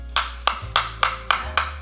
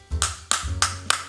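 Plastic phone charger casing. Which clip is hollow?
The first.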